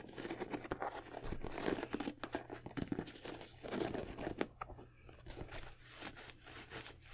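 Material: Leather.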